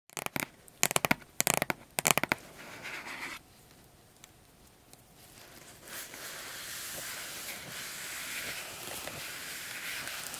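Long acrylic nails and fingertips tap and scratch the lid of a large, flat, printed cardboard keyboard box that lies closed and hollow on a fur rug. Quick bursts of sharp, crisp clicks open the clip, then a brief soft scrape and a near-silent pause follow. After that comes a steady, bright, hissy scratching across the lid until the end.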